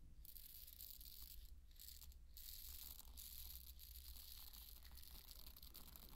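Dry pearl barley grains are scooped in a cupped hand and trickled back onto the bed of grains. The result is a quiet, continuous patter of fine, bright rattling over a steady low hum, with no clear separate hits.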